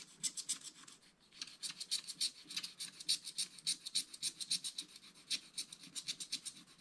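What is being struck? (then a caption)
Scratch-art card scratched with a wooden stylus. A wooden stylus scratches the upper sky and mountain area of a scratch-art card page in a spiral book with continuous strokes. The result is a quiet, bright, dry rasping, repeated as quick strokes at roughly three to four per second with a brief lull near the one-second mark. There is almost no low end.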